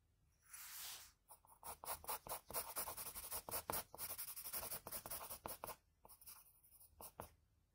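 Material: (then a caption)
Paper. A graphite pencil tip scratches line strokes along the jaw outline on a sheet of drawing paper. A soft, longer swish opens, then a rapid run of short, dry, bright scratching strokes follows, thinning into a few quieter strokes at the end.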